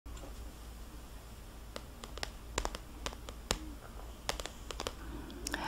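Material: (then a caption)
Paper. Fingertips with long black-painted nails tap and scratch across the glossy printed cover of a paperback adult mandala coloring book lying flat. A series of sharp, bright clicks and light scratches stand out over a steady low hum, each click dying away almost instantly.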